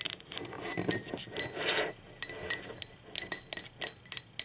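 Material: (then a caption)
Ceramic. Long acrylic nails tap the body and handle of an empty, hollow, blue speckled glazed ceramic mug as it is rolled on its side. Bright, sharp clinks with almost no ring come at an uneven pace, with a softer rolling scrape partway through.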